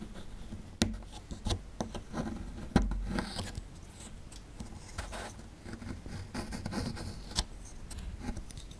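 A small metal chisel scrapes at a small, solid plaster fossil excavation block near its exposed relief. Quiet, dry scratching and scraping is broken by occasional sharp clicks and knocks, with a dull, low-heavy body and little high ring.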